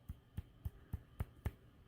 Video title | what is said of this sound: Crochet Amigurumi Doll/Hair, Face, and Beard/Shirt and Dress/Customize It To Look Like You! | I think this is stuffed good for now. You can hear it if you thump it.